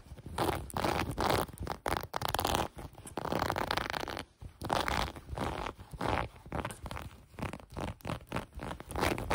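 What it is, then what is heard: Cotton sweatpants waistband. Long nails scratch and pluck the elastic waistband of light gray cotton sweatpants. The result is a string of short, raspy, zipper-like bursts of scratching and scraping separated by brief pauses. The bursts are dense in the low and middle range, with a fainter bright edge.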